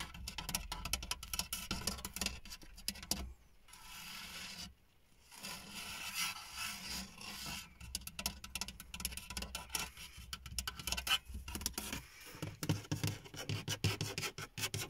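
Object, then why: Textured plastic car dashboard. Fingernails scratch and rub across the large, dark grey, textured plastic surface of a car dashboard. A dense run of dry, bright scraping and quick ticking strokes plays over a steady low hum, with brief quieter pauses near 3.5 and 5 seconds before the scratching resumes, growing choppier toward the end.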